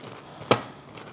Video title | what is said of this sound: Shockingly Easy No-Knead Focaccia Bread - Bon Appétit Recipe | could you hear how crispy it is